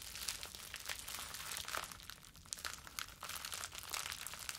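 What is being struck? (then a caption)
Plastic bubble wrap. A ball of clear plastic bubble wrap is held in both hands and crumpled with the fingers. Dense, bright crinkling and crackling runs throughout, dotted with short sharp snaps, with almost no low end.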